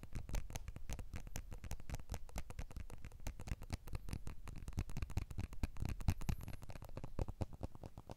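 Fingertips of both hands tap rapidly on the glass back of a small, solid blue iPhone 12 smartphone with an aluminium frame and the Apple logo visible, as the phone is turned and held close. The taps form a dense, continuous patter of soft, dull, low thuds with very short decay and faint bright clicks on top.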